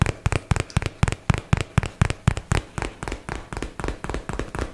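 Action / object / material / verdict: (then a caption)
tap / cardboard box / cardboard / none. A hollow white and teal paperboard product box, held in both hands, is tapped quickly with fingertips and nails. About twenty dull, short, low thuds follow in a loose, uneven rhythm, each with a faint bright click and almost no ring. The later taps are softer.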